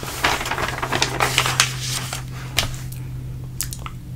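Fingertips slide and rub across a thin glossy page of an open trade magazine, then lift and flip it, making a string of crisp, bright rustles and papery ticks. Sharper crackles stand out near the start and around the middle and end of the flip, over a steady low hum.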